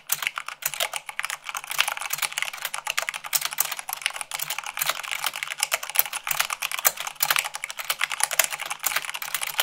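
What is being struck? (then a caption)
Plastic mechanical keyboard keys. Fast typing with fingertips and long nails, at about 98 words per minute, on a mechanical keyboard with white plastic keycaps on a black base. A dense, rapid stream of sharp, bright clicks and clacks fills the whole clip, with each keystroke dying away almost instantly and almost no low end.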